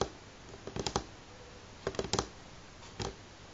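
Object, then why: Pine wooden tabletop. Fingernails from both hands tap slowly on a solid light pine tabletop. The sound is short, crisp wooden clicks with a hollow tone around 480 Hz and almost no ring. The taps come in quick clusters separated by quiet pauses.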